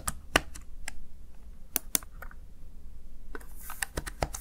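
Fingertips with short nails press and tap the keys of a small black plastic backlit Razer Tartarus Chroma gaming keypad, seen in an angled close view. Scattered short, sharp clicks with bright high tops sit over a steady low hum. They come in uneven bursts with brief pauses between and die away almost instantly.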